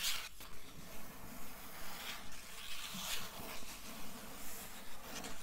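Long nails scratch the blue paper endpaper over the inside board of an open hardcover book. They make a steady, rhythmic run of soft, dry, papery strokes with a bright hiss on top. Each stroke has a quiet low rustle underneath and fades quickly.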